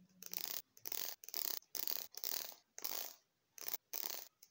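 Fingertips and thumbs run and flick across the fine teeth of a long, solid red plastic hair comb, scratching them. The result is a series of dry, bright, high-pitched rasping bursts broken by short silences, with almost no low end.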